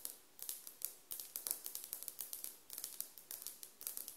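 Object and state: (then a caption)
Ceramic floor tile tapped with nails. Long nails on both hands tap and scratch a solid glazed ceramic floor tile around a SHEIN sticker. The result is a quick run of sharp, bright clicks with very short decay and little low end. The clicks come in irregular bursts across the clip.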